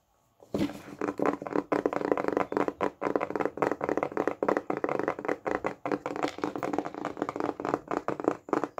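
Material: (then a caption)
Wood. A small, solid, round, flat wooden disc, perhaps a coaster or lid, is held in the hands and tapped with fingertips and nails. It gives dry, short, hollow knocks centered in the midrange, falling into fast continuous runs with brief pauses.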